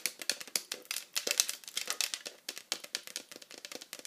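Long acrylic nails of both hands fast-tap and scratch the flat back of a hollow pink plastic iPad cover. Some 29 quick, sharp clicks run together with scratchy rasps between them. The sound is bright and dry, with almost no low end and each tap dying away at once.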